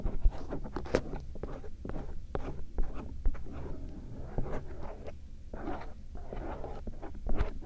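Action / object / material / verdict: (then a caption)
scrape / silicone microphone ear shell / silicone / none. A thin bamboo earpick, held by fingertips with painted nails, scratches and strokes the inner folds of the silicone ear shells on a binaural microphone. Soft, close scraping and rustling strokes come in quick bursts over a steady low rumble, with a few brief, brighter scratchy accents.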